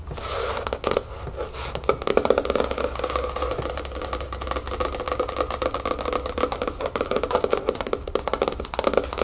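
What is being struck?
Spiral-bound notebook with hard cover.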